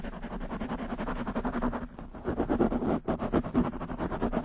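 Long nails of both hands scratch very fast on a black foam windscreen covering a desktop microphone, making a dense, rapid stream of rough, muffled rasps. The sound is low and boomy, centered around 200–300 Hz, with little bright content. It stays continuous apart from brief quieter dips near the 2- and 3-second marks, and grows louder and choppier in the second half.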